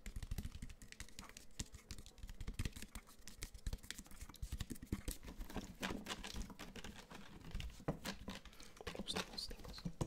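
Fingernails scratch and tap quickly along the sides and label of a partly filled clear plastic water bottle with a black sport cap, held close to the mic. The result is a dense, quiet run of short, dry taps with hollow low thuds, mixed with brief bright scratching.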